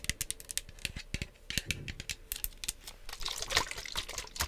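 Long acrylic nails tap and scratch along the body and trigger head of a hand-sized, hollow pink plastic spray/mist bottle with a My Melody print, likely partly filled with liquid. Rapid, irregular, bright clicky taps sound with very short ring, mixed with softer scratching hiss that swells in the latter part of the clip.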